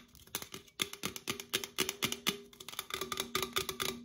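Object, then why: Aluminum drink can. An opened, hollow red Coca-Cola aluminum can is tapped with long acrylic nails on its side and near the open top while it is rotated between the hands. The result is a quick, irregular run of about two dozen sharp, bright clicks, each with a short metallic ring that decays almost instantly.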